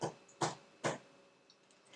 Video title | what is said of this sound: Easy Homemade Bread - How To Make Potato Bread - The Easiest Bread You'll Ever Make | If it gives you a little bit of a hollow sound, like when you thump a watermelon, you get that little hollow sound through it